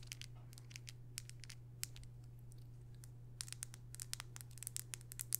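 A small, slim, hollow black plastic cosmetic tube, mascara or eyeliner style, is held in both hands and tapped and scratched with long purple acrylic nails. Quick, dry, bright clicks and scratchy ticks come in clusters over a steady low hum. They are sparse early on and grow denser and louder toward the end.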